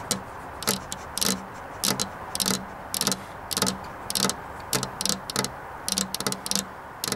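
Long, black-polished fingernails tap a flat glass window pane fitted with a metal rail, in quick, uneven rhythmic bursts. Each tap is a sharp, bright click that dies away fast, heard over a steady low hum.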